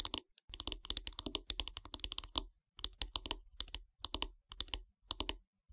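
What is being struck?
Wooden bath brush handle.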